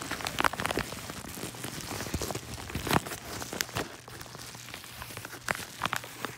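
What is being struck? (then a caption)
Kraft-paper padded mailer envelope. Fingertips press, rub and crinkle the creased paper of a yellow kraft-paper padded mailer envelope held up close. Soft, irregular crackles and crinkles run throughout, with sharper bright snaps standing out here and there over a faint, steady low hum.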